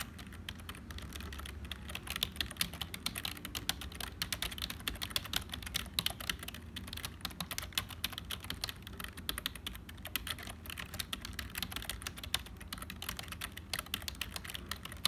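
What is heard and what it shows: Fingertips of both hands type continuously on a black HP full-size plastic keyboard that sounds hollow. Dense, rapid, bright clicking taps stop dead with no ring, over a steady low hum underneath.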